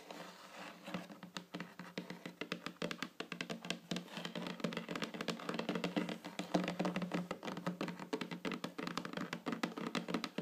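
Long fingernails tap rapidly and continuously on a flat, solid wooden tabletop, producing dozens of short, dry clicks that die away almost at once. The taps come in quick, uneven patters at a soft, steady level, with a faint low tone around 180 Hz beneath them.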